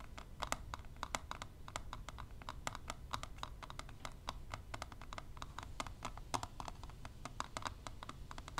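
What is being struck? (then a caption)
Plastic lash palette lid. Long nails and tweezers tap quickly on the clear plastic lid of a closed plastic eyelash extension palette. The result is a rapid, uneven stream of short, dry, bright clicks over a steady low rumble.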